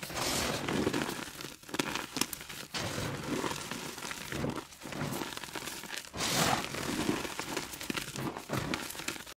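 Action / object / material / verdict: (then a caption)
scrape / reformed gym chalk block / chalk / none. Solid, brittle pieces of a reformed gym chalk block are crushed and rubbed into crumbs between bare, chalk-covered fingers and palms over a bowl of chalk powder under UV light. Close, dry crunching and crumbling crackles come in several bursts with soft gritty rubbing between them.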